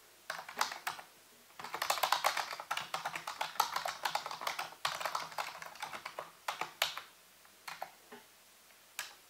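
Fingertips and nails type and tap on the keys of a full-size black plastic computer keyboard with a hollow housing. Quick, crisp clicks come in dense bursts with short pauses, then thin out into scattered single taps with a bright, hollow clack.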